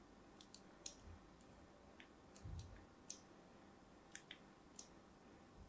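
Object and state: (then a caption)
Soap bar being scored with a blade. A thin metal blade scores crosshatch lines into the surface of a palm-sized, pink and white striped solid soap bar held in hand. The result is a quiet series of short, crisp, bright scratching clicks spaced irregularly over a low background hum, with a soft dull thump near the middle.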